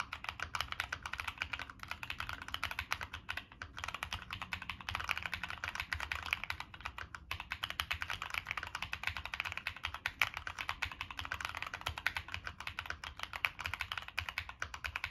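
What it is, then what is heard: Mechanical keyboard with aluminum case. Fingertips type continuously on a Monsgeek M1 mechanical keyboard with a black aluminum case, plastic keycaps and NK Cream switches. A rapid, steady stream of short, crisp clacks with a bright upper edge and almost no ring follows each keystroke, over a faint low hum.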